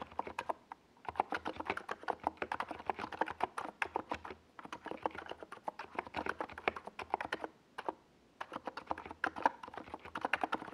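Fingertips of both hands type steadily on a compact 68-key NiZ Plum Atom 68 mechanical keyboard with a white plastic case and purple and yellow Domikey Gas Attack SA plastic keycaps, resting on a purple desk pad. Quick, dry keystrokes come in dense bursts with a few short pauses, giving a mid-pitched, clacky plastic sound centered around 900 Hz with very little bass.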